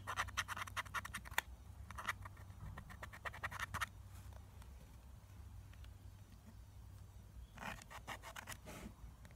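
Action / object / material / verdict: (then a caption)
scrape / plastic eyeshadow palette with pressed powder / pressed powder / none. Long nails scratch the pressed powder in the pans of a clear plastic eyeshadow palette that is partly dug out, and powder falls. Quick bursts of dry, bright scratching come in clusters with quiet gaps between them, over a steady low hum.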